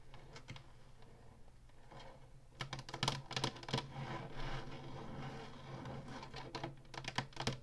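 Fingertips and nails rub and scratch across the ribbed black plastic top of a hollow plastic Atari Flashback 2 game console. Quiet, dry rasping builds into louder bursts of sharp, bright clicks and scrapes with very short decay. A steady low hum runs underneath throughout.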